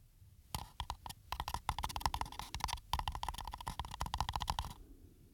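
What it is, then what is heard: Textured paper coffee cup. Fingertips and nails scratch and tap the ribbed, embossed side of a small, hollow green paper coffee cup with a white rim, held by hand close to the microphone. Rapid bursts of crisp, bright scratches and taps carry a hollow ring around 1 kHz, broken by brief pauses, then fade to quiet at the end.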